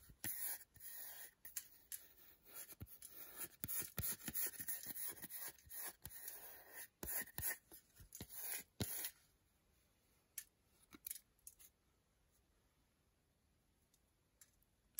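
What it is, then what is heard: Milk chocolate bar scratched with nails. Long nails scratch the flat back of a solid milk chocolate bar held in the hand, leaving scratch marks and shavings. Fast, bright, gritty scraping bursts run for about nine seconds, then the sound drops to near silence with a few isolated scratches.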